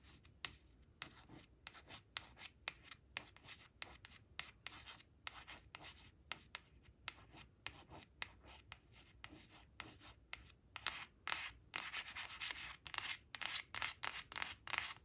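Long acrylic nails trace, scratch and rub the glossy face of a thin, flat laminated cardboard flash card printed with sunflowers, resting on a fabric surface. The result is a quiet, irregular run of short, bright, scratchy strokes with almost no low end, growing denser and louder into continuous rubbing toward the end.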